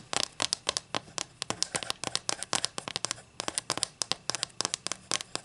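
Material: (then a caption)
Wood. Long nails tap and scratch across the face and edge of a solid wooden ruler held in the hands. A rapid, uneven run of about 36 dry, bright clicks and short scrapes sits mostly in the high frequencies, with almost no low end. Each tap stops instantly with no ring.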